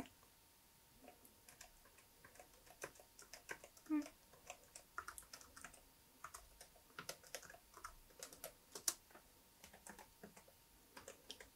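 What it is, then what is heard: Plastic laptop keyboard being typed on. Fingertips of both hands type steadily on the solid plastic keys of a laptop keyboard, making a quiet stream of short, dry, bright clicks and taps that stop almost instantly. The taps come in uneven bursts over a low, faint background hiss.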